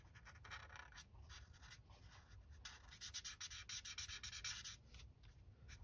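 The felt tip of a white alcohol marker, held in the fingers, rubs and scratches across a flat sheet of white printed paper, a coloring page lying on a table, while coloring in purple. Bright, dry scratching strokes come in quick back-and-forth bursts that grow louder and more rhythmic in the middle of the clip, over a faint low rumble.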